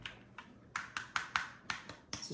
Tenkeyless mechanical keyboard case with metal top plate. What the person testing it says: it's a solid feel it feels solid when i tap on it